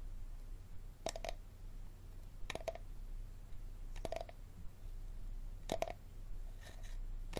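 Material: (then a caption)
Plastic. Fingernails tap and scratch the ridged bottom of a small, empty, clear plastic water bottle held base-forward, with its hollow body ringing a little. Quick bursts of sharp, bright clicks come in small clusters every second or so, each carrying a brief hollow tone around 650 Hz. A steady low rumble runs underneath throughout.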